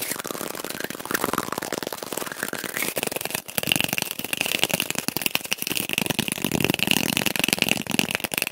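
A cardboard tube is tapped quickly and played back at double speed, giving a dense stream of dry, papery taps and scratches. A faint high ringing tone sits under the busy tapping throughout.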